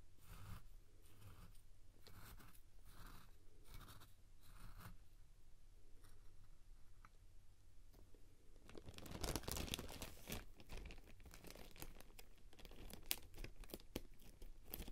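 A spoon resting in a medium clear glass bowl nearly full of coarse white salt is pushed through the grains, giving a scraping, crunching sound. Soft, separate gritty sweeps come first, then from about nine seconds the crunching grows denser and louder with bright, grainy crackle.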